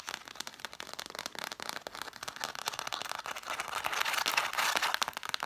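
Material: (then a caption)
Cloth, paper. Long nails scratch rapidly across a stack of red cloth-bound hardcover books, first along the spines and then along the page edges. It makes a dense, bright crackle of quick scrapes and ticks with almost no low end, growing louder and harsher toward the end.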